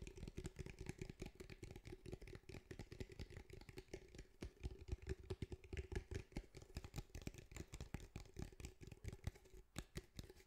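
Fingertips tap rapidly on the sides and top of a grey cylindrical speaker with a fabric mesh over a hard hollow body, held in front of the mic. The taps come as a dense, continuous patter of soft, short, low thuds with very little brightness, over a faint steady hum.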